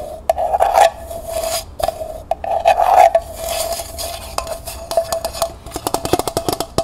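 Fingernails scratch inside and tap on the outside of a small, hollow, empty copper-colored metal pail, first lying on its side and then held upright. Rasping scrapes swell over a steady metallic ring near 680 Hz, then give way to quick, bright taps, each followed by a short ring.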